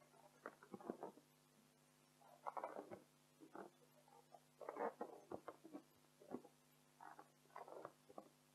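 Long acrylic nails rapidly scratch and tap an inflated, hollow, air-filled pink latex balloon while hands cup it. Quiet bursts of rubbery, squeaky scratching and soft patter come in short clusters, with brief pauses between them. A faint, steady low hum sits underneath throughout.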